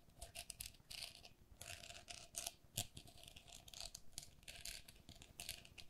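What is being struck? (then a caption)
Perforated plastic pen cup. Long nails tap and scratch the mesh walls of a hollow, empty pink perforated plastic lattice pen cup. The result is a quiet run of quick, bright, scratchy clicks and rasping bursts with very short decay, over a faint steady tone.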